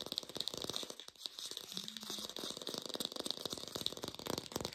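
An artificial plastic pear is tapped quickly with rapid, dry, clicky taps that stop instantly. The sound is thin, bright and hissy, low-fi, with almost no low end.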